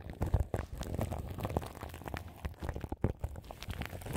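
Long nails scratch the crinkly plastic film wrapped around the grille of a large microphone. The result is a dense, continuous run of short crackling and rustling bursts, heavy in low, thumpy rumble with very little high-end brightness.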